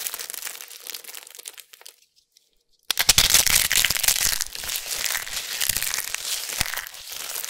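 Fingers rake through a pile of thin, crispy amber soap flakes lightly dusted with starch, making soft, bright crinkling for under two seconds before a brief silence. Hands with long nails then grab and crush handfuls, producing loud, dense, high crackling and crunching that continues to the end.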